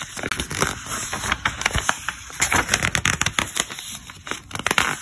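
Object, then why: Thick glossy paper catalog. Fingertips flip and turn the pages of a thick glossy paper catalog, which crinkle as they are handled. The result is a steady run of quick, bright crackling and rustling bursts with little low end.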